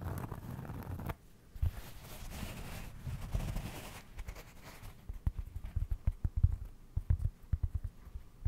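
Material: Cork.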